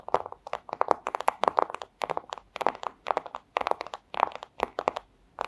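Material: Plastic.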